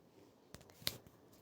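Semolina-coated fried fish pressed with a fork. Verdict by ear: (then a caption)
Crisp. A fork checks surmai (kingfish) pieces with a rava and rice-flour coating on the tawa, producing two short, bright, crisp crunches, the second louder. The fish is well fried and crisp, with a crunchy sound.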